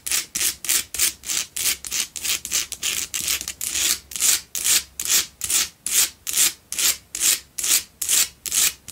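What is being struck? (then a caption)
Himalayan salt block candle holder. Long acrylic nails scratch rapidly back and forth across the rough surface of a large, solid pink Himalayan salt double candle holder with two tealight holes, lit from within. There are 29 separate, fairly regular scratching strokes, each a bright, dry, hissing rasp with almost no low end.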